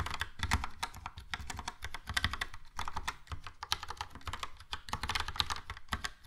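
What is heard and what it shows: Fingertips of both hands type steadily on a Logitech POP Keys plastic mechanical keyboard with a yellow plastic case and round plastic keycaps. A rapid stream of short, bright clacks carries a light low thump beneath each press.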